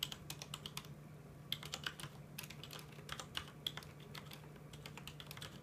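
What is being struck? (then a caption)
Mechanical keyboard with plastic keycaps. Fingertips of both hands type on a full-size mechanical keyboard with plastic keycaps, producing a quick run of crisp, bright clicks and clacks. Many sharp, short key taps come in uneven bursts over a faint steady low hum.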